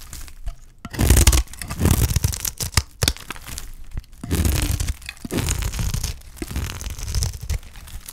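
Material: Soap.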